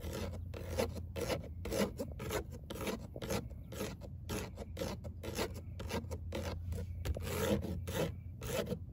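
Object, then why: Perforated metal car door speaker grille. Long acrylic nails scratch and rake across a perforated metal car door speaker grille, a thin cover with fine hexagonal mesh over a hollow cavity. Quick, uneven rasping strokes come at roughly two per second, each a bright, gritty burst over a steady low hum that fills the whole clip.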